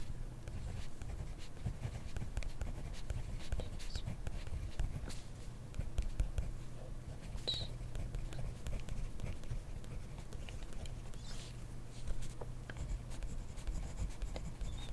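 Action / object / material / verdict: scrape / ballpoint pen on grid paper notebook page / paper / none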